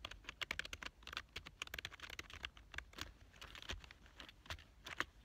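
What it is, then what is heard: Plastic computer keyboard. Fingertips type fast on a black plastic full-size computer keyboard lying on a couch. A rapid, uneven string of short, bright plastic key clicks dies out almost at once, with occasional louder taps standing out from the quieter keystrokes.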